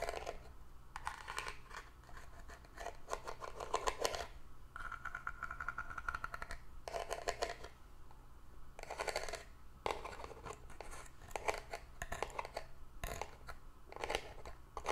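Long orange nails scratch a small hollow hexagonal cardboard gift box, covered in ribbed paper with a glitter band at the base and held in both hands. Bursts of dry, rasping scratches come and go over a steady low hum, with a brief smoother stretch that carries a faint tone near 1 kHz.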